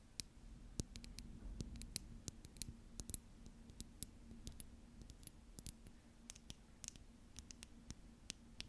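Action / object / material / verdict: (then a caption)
tap / small glass cosmetic bottle / glass / none. A small clear glass cosmetic bottle with a black cap, apparently partly filled, is held close and tapped and scratched with long acrylic nails. Many quick, sharp, bright clicks land at irregular intervals, with soft scratchy rustling between them. A faint, steady low hum runs quietly underneath throughout.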